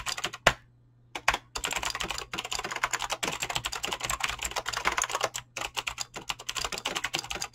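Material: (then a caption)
Plastic. Fingertips type fast on a mechanical keyboard with clicky green switches and PBT plastic keycaps, producing a dense stream of sharp, bright clicks. Two louder key strikes stand out near the start, separated by a brief pause before steady typing resumes.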